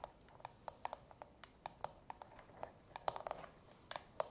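Long natural fingernails of both hands tap rapidly on the domed inner insert of a small, hollow, empty frosted translucent plastic manicure soak bowl. About eighteen quick, dry, hollow clicks sound with no ring, each centered in the midrange around 780 Hz with a bright top.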